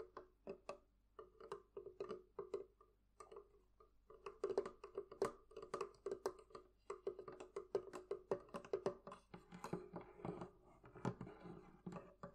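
Fingertips and nails tap on the wooden part of a thrift-shop barrel chest in a steady, quick series of light knocks. Each tap is dry and short, with a hollow woody resonance around 390 Hz. The tapping grows busier and denser toward the end.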